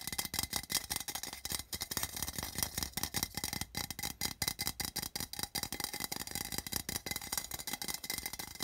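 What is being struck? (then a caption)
Small thin metal tin can. Fingertips tap rapidly on the side and metal bottom of a small, open, empty, printed metal tin. The hollow tin gives a fast stream of bright, tinny clicks that die away almost at once.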